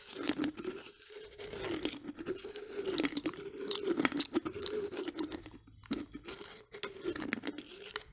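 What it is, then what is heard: Glass coffee jar with plastic lid. Long nails tap, scratch and twist the black plastic lid of a small, partly full glass coffee jar, and at the end the lid is unscrewed. Dense crunchy clicks and scrapes sit over a steady low hum near 280 Hz, with bright, crackly edges throughout.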